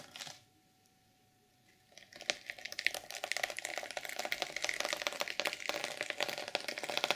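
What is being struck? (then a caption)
Reversible sequin fabric cover. Fingers and nails scratch and flip the sequins on a flat, reversible sequin fabric journal cover, with the hands not in view at the start. After a brief rustle and nearly two seconds of quiet, a dense run of bright, crisp clicking and scratching builds and continues to the end.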